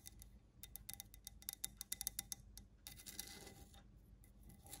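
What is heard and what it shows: Long nails tap and scratch the side of a medium grey, stone-look ceramic planter with a ribbed, rough glazed surface; the pot is hollow and holds a plant. Quick, bright clicks come in a rapid, uneven run, mixed with a drier rasping scrape as the nails drag across the ribs. The sound is quiet and high, with almost no ring after each tap.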